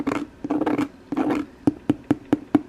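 The plastic imitation-leather exterior of a fake leather handbag is handled with scratchy, rustling bursts, then tapped five times in a row. Each tap is short and hollow with a clear tone around 290 Hz, and the bag sounds like plastic.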